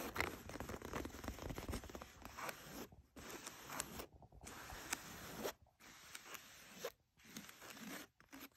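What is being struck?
Denim jeans scratched by fingernails.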